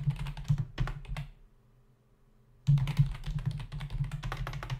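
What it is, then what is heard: Plastic computer keyboard. Fingertips of both hands rapidly tap the hollow key caps of a black plastic membrane desktop keyboard, making quick, irregular clicks over a steady low hum. The typing stops for about a second and a half, leaving only the faint hum, then resumes in a louder flurry of clicks until the end.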